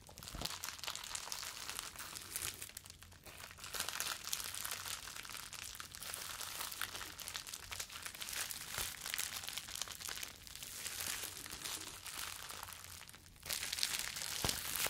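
Clear plastic bubble wrap is bunched in both hands, crumpled and squeezed with the fingers, making a steady, bright crinkling and crackling. The sound runs continuously for the whole clip, with a brief quieter dip near the middle and a louder burst toward the end.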